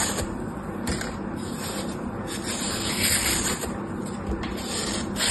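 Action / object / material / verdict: scrape / green floral foam block / floral foam / none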